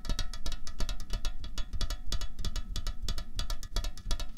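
Fingernails tap rapidly on a slim, hollow aluminium Coca-Cola Cherry can lying on a tablecloth. A quick, uneven run of short, dry clicks with bright metallic ticks over a dull low thump, each tap dying away almost instantly.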